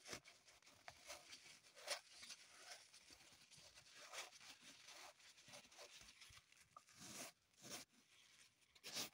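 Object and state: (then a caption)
Floral foam block being scratched and crumbled. A small solid green floral foam block on a table is dug into and crumbled with long pointed acrylic nails. The sound is a quiet, bright, crunchy scratching and tearing, with a dozen or so sharper crackling bursts over a dry, hissy texture and no lingering ring.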